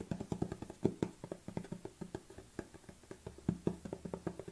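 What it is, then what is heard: Plastic supplement tub. A large black plastic protein supplement tub is tilted by hand while fingernails tap on its lid and upper body. About twenty quick, dry taps are heard in an uneven rhythm. Each has a hollow, low-mid knock that dies away almost at once.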